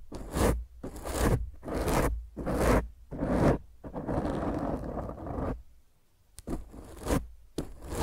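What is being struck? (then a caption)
Foam microphone windscreen. Fingernails of both hands scratch roughly across a black foam microphone cover, producing bursts of close, bassy scraping and rustling. A long continuous scratch runs in the middle, the sound briefly drops to near silence, and then the scratching strokes resume.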